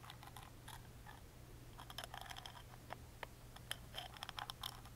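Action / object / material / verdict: scrape / small carved plywood music box lid / plywood / none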